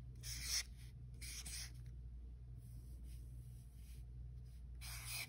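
A white-barrel alcohol marker tip is stroked across the thick paper of a spiral-bound sketchbook page with a washi tape strip, drawing red heart outlines. Bright, dry scratching and rubbing strokes come and go over a steady low hum.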